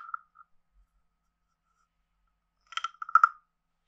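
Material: Wood.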